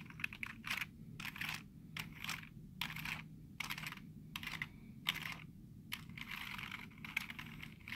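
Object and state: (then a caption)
Plastic computer keyboard. Fingertips quickly tap the letter keys of a black plastic computer keyboard with hollow keys. Bright, clattery clicks come in rapid bursts separated by brief pauses, each click dying away almost instantly over a faint, steady low hum.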